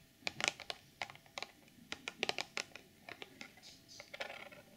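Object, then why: Clear plastic packaging box. Long nails tap on the front face of a hollow, clear plastic retail box holding a sequin pouch inside. The result is a quick, uneven run of sharp, bright clicks with almost no low end and very little ring, centered around 2.4 kHz. Near the end, a softer scratchy rustle mixes in.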